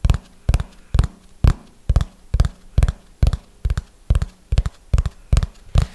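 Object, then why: Hardcover notebook. A small red hardcover notebook is held upright and tapped on its cover with fingernails in a slow, steady rhythm of about two taps per second. Each tap is a short, dull knock with a low body around 170 Hz that dies away almost instantly.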